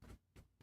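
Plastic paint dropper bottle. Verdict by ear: Empty.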